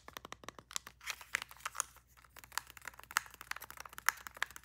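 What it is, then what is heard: Plastic TV remote. Long nails tap fast across the casing and rubber buttons of a small, hollow, black plastic streaming TV remote. The result is a rapid, irregular run of sharp, dry clicks and taps with a bright edge and no ring, some louder and crisper than others.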